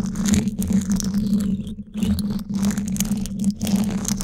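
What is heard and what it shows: Flat emery-board nail files held in both hands rub and scrape along the top of the woven steel mesh grille on the hollow dome of a Blue Yeti microphone. The result is a dense, continuous scratchy rasp over a steady low hum near 210 Hz, with brief lulls around 1.8 and 2.4 seconds before the scraping resumes.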